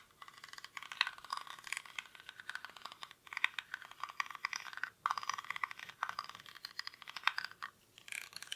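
Fingernails scratch the weave of a small, hollow woven rattan or reed basket held in both hands, its contents not visible. Dense, dry crackling and scraping fills the mid and high range with no low end, coming in bursts with brief pauses between strokes.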